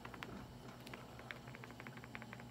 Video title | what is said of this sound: Mutya ng mga Alog salsagan, bunga ng samapaloc, batong alog | May laman po yan sa loob. Bato. Maalog oh. Bato po siya pero umaalog.